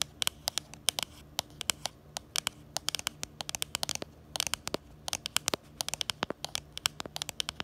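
Long glitter and nude nails tap and scratch the back of a smartphone in a pink plastic case with a black bumper, right beside the camera. Dozens of sharp, bright clicks and ticks arrive in an irregular, sometimes clustered rhythm. Each dies away almost instantly over a faint, steady hiss with very little low end.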